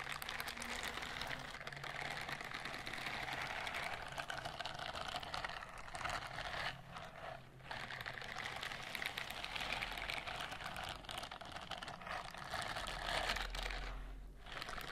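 Long pink-painted fingernails scratch and rub across the short bristles of a white silicone dish-scrubbing glove held up flat. The result is a steady, dense, bright scratchy rustle, strongest in the mids and highs, with brief dips around 7 and 14 seconds.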